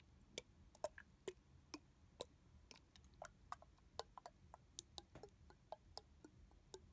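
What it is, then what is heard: Plastic mist bottle, tapped with fingernails. Fingertips and nails tap on the back of a red translucent plastic body mist bottle with a barcode sticker, held sideways and filled with liquid. About two dozen short, dry ticks come in an uneven, quick rhythm, each a sharp click with a hollow mid tone around 600 Hz and a bright high edge. Every tick dies away almost instantly over a faint low background hum.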